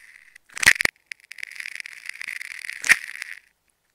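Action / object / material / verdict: scrape / layered plastic tape ball / plastic tape / none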